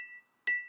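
A glass holding hardly any water is tapped once to compare it with a fuller glass, giving a bright, clear ring pitched near 2 kHz. The tap follows the fading tail of an earlier ring and dies away within a fraction of a second.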